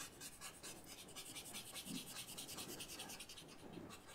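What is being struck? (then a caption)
Paper blending stump rubbed on a paper sketchbook. A pale paper blending stump held in the fingers is rubbed in small strokes over charcoal shading on a white paper sketchbook resting on a table. The result is a soft, continuous dry scratching and rubbing with a bright, hissy texture that rises and falls with each quick back-and-forth stroke.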